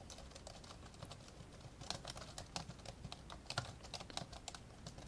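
Fingertips from both hands tap on the plastic keys of an old 1990s dark grey plastic laptop, which lies flat with its lid open on a blue cloth. A quiet, steady run of short, dry clicks with bright upper edges and a soft low thump is heard for about five seconds. The keystrokes blur together unevenly, with a few sharper presses standing out.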